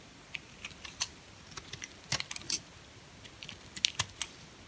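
A small, solid, pink translucent bar of hard soap is held in the fingers while a red-handled utility-knife blade scrapes and cuts thin pieces from it. The sound is a series of crisp, bright scraping clicks and snaps with almost no low end, each cut short and dry.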